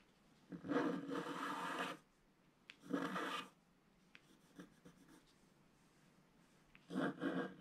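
A thin wooden stylus scratches across a flat, black wax-coated scratch-art sheet lying on a table, revealing the colours underneath. Three long, raspy scraping strokes are heard, separated by quiet pauses with a few light, brief ticks of the stylus on the paper.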